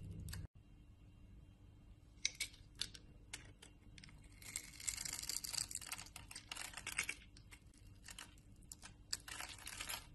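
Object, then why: Bar of soap cut with a blade. A utility knife blade scrapes small cubes off a solid orange rectangular bar of soap, held in the hand, with a cross-hatched scored surface. Quiet, crisp, bright scratches and crumbly crackles come in short bursts, thickest in the middle of the clip, over a faint low hum. Near the start there is a brief silent gap.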